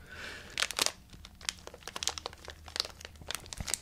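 A small, full, sealed plastic M&M's candy bag is held in both hands while fingertips squeeze and rub it. A soft, airy rustle gives way to a rapid series of sharp, bright crinkles and crackles with almost no low end. Each burst cuts off quickly.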